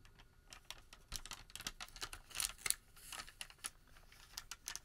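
Fingertips pull, flex and crinkle a long, thin Home Depot thermal paper receipt strip. The result is a quiet, bright run of quick, dry crackles and soft rustles with no ring, mostly in the high range with little low end.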